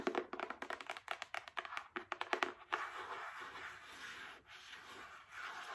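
Long acrylic nails tap a small, solid paperback book with a card cover in a quick run of about twenty sharp, dry clicks. Then they scratch across the cover in a steady, hissy rasp for the last three seconds.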